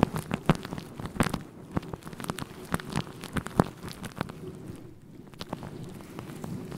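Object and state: Faux fur microphone windscreen.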